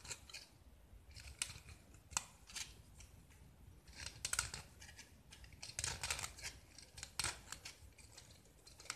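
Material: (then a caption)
Gypsum. A small, solid white gypsum block with a green-yellow painted surface is held in hand and carved and scraped with a metal utility knife blade. Dry, crumbly scraping strokes come in bright bursts of varying length, with short sharp cuts between them. Each stroke is gritty and high-pitched and stops almost at once, with no ringing.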